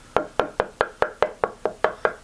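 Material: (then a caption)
Limba wood. A white limba (korina) guitar body is knocked 11 times in a steady rhythm. Each knock gives a short, hollow, woody tone centred around 600 Hz with little deep bass. The body is very light and very resonant.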